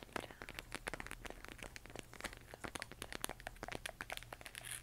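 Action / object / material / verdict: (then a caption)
tap / plastic moon lamp shell / plastic / none. A hollow 3D-printed plastic LED moon lamp, glowing white and pink and held in both hands, is tapped with long nails and fingertips on its textured surface. Quick, dry, crisp clicks and light scratchy taps follow one another in a rapid, uneven stream. A faint steady low hum sits underneath.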